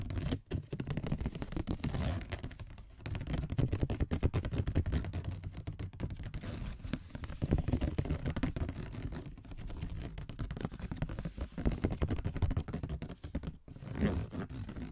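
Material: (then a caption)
Cardboard. Fingers tipped with AA batteries tap and scratch along the ridges of a flat brown corrugated cardboard sheet lying on a table. The result is a dense, continuous stream of quick, dull, low-pitched tapping and scraping with almost no bright edge, each tap dying away instantly.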